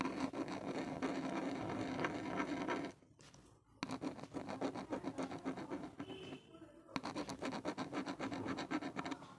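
A small hollow black plastic inline mic housing on an earphone cable is scratched fast and over and over by a gloved hand using the blue tip of a pen-like tool. The result is dense, gritty scratching with a low tonal hum near 270 Hz. It stops briefly twice and then starts again.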